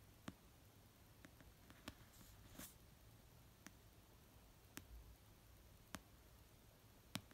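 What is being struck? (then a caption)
Paperback book, paper. Fingertips and nails tap slowly on the cover of an orange paperback novel of solid paper resting on a blanket. Quiet, widely spaced taps give short, dry clicks with a brief bright edge and almost no ring, over a low, soft background hush.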